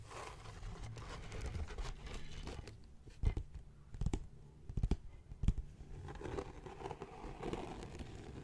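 Fingertips and short nails scratch and tap across the cover of a closed blue leather-bound journal with an embossed Viking ship design, lying on a wooden chest. A soft, dull, low scratching runs throughout, broken in the middle by a few sharper, louder taps that die away almost at once.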